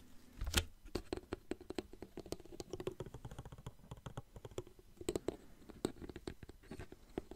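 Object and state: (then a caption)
Plastic water bottle. Fingertips tap a small clear plastic water bottle with a blue cap, partly filled with water, close to the mic. About twenty quick, quiet taps land in an uneven rhythm, each a short hollow plastic tick with a soft low thump and a brief ring that dies almost at once.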